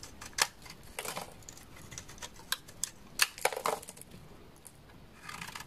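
A solid, dry, dark amber translucent bar of laundry soap, held in the hand, is shaved with a utility knife blade. Crisp, bright scraping and snapping cuts come in short bursts, with a few sharper cracks standing out over faint rustling between strokes.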